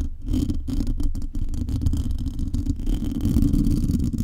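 Long painted nails of both hands scratch across a metal mesh microphone grille. The result is a dense, continuous, muffled scraping and rustling, heavy in low rumble with a steady hum around 280 Hz and almost no high-end brightness.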